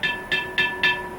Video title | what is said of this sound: Pottery of the Acoma Pueblo, Characteristics and Information | if you have a pot and you can tap it and you can hear that ring that means there's no cracks